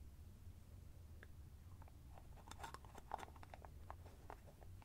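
A small white plastic cosmetic cream jar, hollow and presumably filled with cream, is held in both hands close to the microphone while fingertips with short nails twist and unscrew its orange plastic screw lid. The plastic threads rub and give quick, dry clicks and crackly ticks, thickest in the middle of the clip, over a low steady rumble. The sounds are quiet and close, with no talking.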